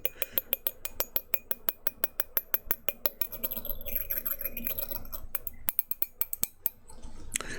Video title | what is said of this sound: [ASMR] Glass Tapping & Others Glass Sounds | A simple, clean sound.